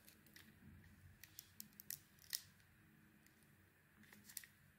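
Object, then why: Bar of soap cut with a knife blade. A solid, red-coated oval bar of soap with a white core is carved with a utility knife blade. Nine quiet, crisp scraping cuts stand out against a soft low rustle, each one short and bright. The loudest comes near the middle of the clip.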